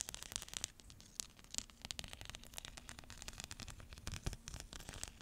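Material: Plastic.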